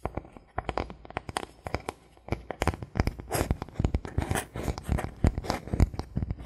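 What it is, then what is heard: Bamboo board. A thin, solid bamboo board is held in the hands while fingertips and nails tap and scratch across it. Quick, dry taps that stop almost at once mix with rougher scratching bursts that turn into a dense, crackly patter in the second half.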